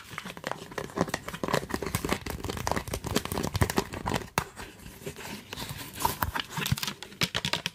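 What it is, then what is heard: Plastic spray bottle. Fingertips and nails tap rapidly on a hand-sized, hollow, yellow translucent plastic trigger spray bottle that is partly filled with liquid, striking both the bottle and the trigger head. The taps are short, dry plastic clicks with a crinkly, papery edge and almost no ring. They ease into softer, sparser tapping midway before picking back up toward the end.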